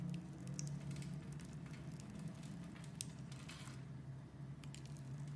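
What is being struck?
Bar of soap scraped with a knife.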